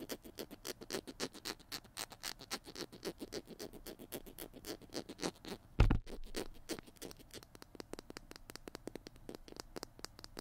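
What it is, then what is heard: Plastic glue stick, tapped and scratched. Fingertips and nails tap and scratch the blue cap and white body of a small plastic glue stick held in both hands. A steady stream of quick, dry clicks and scratchy ticks is heard, with a louder, duller knock near the middle. After it, lighter and faster tapping continues to the end.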